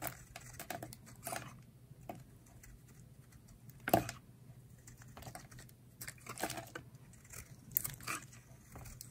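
A solid oval pale-green bar of dry soap, held in the hand, is carved with a utility knife blade, peeling off thick curls. Soft, dry scraping and crisp crackling cuts come in short bursts against a low background hum. The sharpest cut lands just before four seconds.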